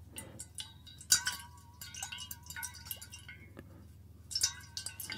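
A stainless steel water bottle is held upright while a fingernail taps its bottom rim in a quick, irregular series. Each tap gives a bright, ringing metallic ping with a short decay, over a faint steady low hum.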